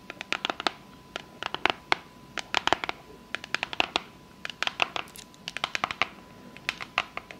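Long fake nails tap and scratch the lid and edges of a small, rigid, hollow, closed pink cardboard box. Quick clusters of sharp, bright clicks and papery scratches come in irregular bursts, each dying away almost instantly, over a faint steady tone.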